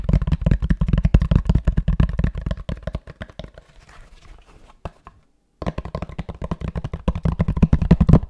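Fingertips rapidly knock and tap the cover of a grey fabric-covered rectangular cardboard box held in the hands, making dull, low, muffled thuds with almost no ring. The tapping thins to faint scratchy touches, stops briefly into silence, then resumes in a fast, steady patter.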